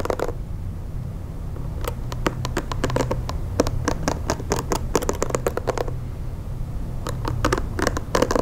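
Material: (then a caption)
Plastic. Fingernails scratch and pluck across the long plastic bristles of a pink plastic hair brush. Quick, bright, dry clicks come in irregular bursts, with short pauses between them, over a steady low rumble.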